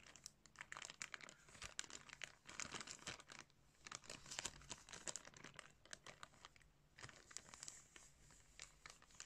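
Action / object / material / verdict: scrape / plastic bag holding sunglasses / plastic / none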